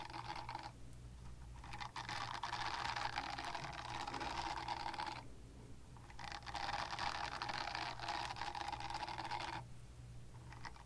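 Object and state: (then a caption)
Silicone cleansing pad scratched with nails. Long nails scratch the textured side of a small pink silicone cleansing pad, making dense, bristly scratching with a bright upper edge and a steady mid-range tone. The scratching comes in two long bursts, with brief quiet gaps at the start and between them, over a constant low hum.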